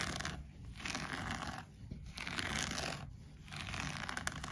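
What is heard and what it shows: Fingertips and nails scratch and rub the soft looped pile of a green-grey shaggy textile bath mat lying flat on the floor, with a wooden bead garland at its edge left untouched. The result is a dry, broadband scratchy rustle that swells and fades in uneven strokes, with brief quieter gaps between them and a bright hiss on top.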